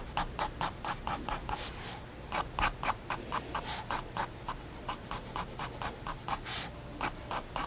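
A pigment liner pen draws dense, scratchy fur strokes on a page of a white spiral paper sketchbook resting on a wooden desk. A rapid series of short, dry, bright scratches repeats steadily over a faint low background hum.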